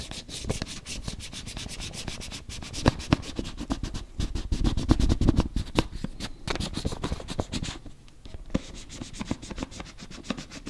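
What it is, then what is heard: Plastic cosmetic tub. A closed, round, hand-sized body-butter tub, likely plastic, is rubbed and scratched with fingertips and nails across its lid and rim. The result is a steady stream of quick, irregular dry scratches and soft taps, weighted toward low frequencies with brief bright clicks, each dying away instantly with no ring. The activity grows busiest in the middle and thins out briefly near the end.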